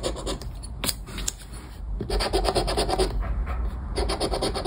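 The edge of a round black plastic scraper, held between the fingers, scrapes the scratch-off coating on a flat paper scratchcard lying on a wooden table. Quick, raspy back-and-forth scratching strokes come in uneven bursts with a bright, gritty edge. The scraping briefly eases before a denser, steadier stretch of rubbing resumes.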